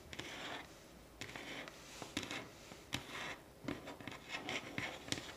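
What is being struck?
Pine wooden tabletop.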